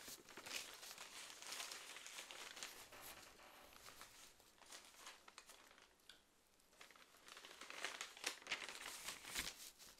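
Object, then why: Stapled paper magazine. A stapled paper magazine or brochure is held in one hand while its pages are flipped with the fingers. It gives soft, bright crinkling and rustling with quick papery flutters, quieting briefly around the middle before picking up again toward the end.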